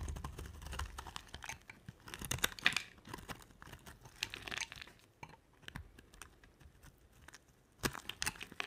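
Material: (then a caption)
Soap. A utility knife blade carves flakes off a solid, dry, pink oval bar of soap. It makes a series of short, dry, crisp scraping and crunching cuts with bright edges and almost no ring. Quieter rustling and flaking fill the gaps between the sharper strokes.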